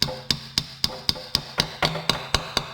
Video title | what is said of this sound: Can This Rusty Lexus Engine Be Saved? | tap it until you hear the sound change and then it's in